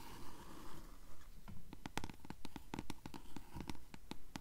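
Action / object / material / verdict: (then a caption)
tap / paperback book page edges, paper / paper / none. Long nails tap and scratch the yellowed page edges of a closed blue paperback book held upright. A soft, rough scratching opens the clip, then gives way to a quick, fairly steady run of crisp, dry taps on the paper. The sound is quiet and close.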